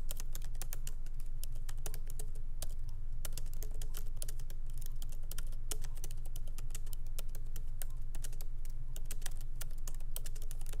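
Light fingertip typing with both hands on a MacBook Pro laptop keyboard, whose small plastic keycaps are set in an aluminum body, resting on a wooden desk. Quick, irregular, bright key clicks patter steadily throughout over a constant low hum.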